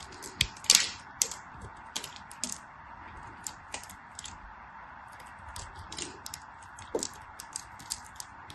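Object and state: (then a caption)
Glycerin soap bar being cut. A hand-held bar of solid translucent green glycerin soap, scored into cubes, is sliced with a craft blade, cutting off cubes and thin strips. Sharp, bright clicks and crisp snaps stand out over a steady soft hiss, with the loudest cuts near the start and quieter ones after.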